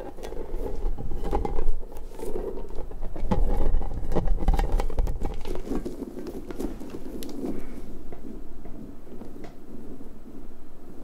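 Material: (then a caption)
Rubber. A large, hollow, pink soft rubber puffer ball with spiky tendrils is held close and scratched with fingertips and long nails. The result is a dense, irregular patter of crackly scratches with a heavy low rumble, loudest in the first half and easing to a softer, steadier rustle after about eight seconds.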